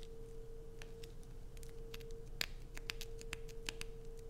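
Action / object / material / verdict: scrape / bar of soap / soap / none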